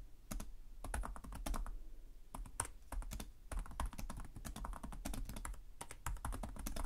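Fingertips type continuously on the plastic keys of a black laptop keyboard. The result is a steady, rapid stream of short, dry clicks with a soft low thump under each keystroke, every press dying away almost instantly.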